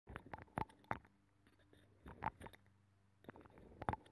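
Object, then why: Abalone shell scratched with a metal pick. A thin metal pick scratches the inner ridges of a hollow, ear-shaped abalone shell with a nacre interior, taped over a microphone. Irregular bursts of close, scraping crackle come in clusters, with a faint tonal ping near 820 Hz at the strongest scratches and quiet, muffled low rumbling between them.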